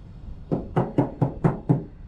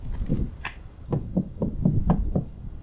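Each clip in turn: First: Six quick knocks on a bare van panel give a low, boomy, drummy ring, typical of undamped sheet metal. Second: Eight dull, low knocks that die almost at once: a van panel deadened by a bitumen damping mat.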